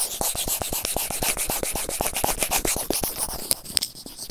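A white plastic tweezer tip scratches fast over a white plastic earphone inline remote microphone resting on felt. The result is a rapid, uneven run of short, dry, bright scratches with no ring between strokes, over a steady hiss.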